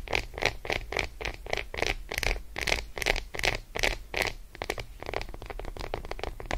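Long acrylic nails, fingers curled, tap and scratch quickly across the squares of an unwrapped Roshen milk chocolate bar, a flat, solid, segmented slab lying on faux fur. The result is a fast, uneven run of short, dry clicks and scratchy brushes, bright around 2 kHz with crisp high edges and a soft low thud beneath. The rhythm loosens into lighter, denser scratching toward the end.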